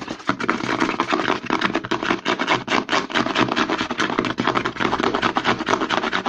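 Short nails quickly scratch the label and side of a hollow white plastic CeraVe lotion bottle held upside down. The result is a fast, continuous stream of dry, crackly scratches with a bright edge over a hollow midrange body and almost no low end.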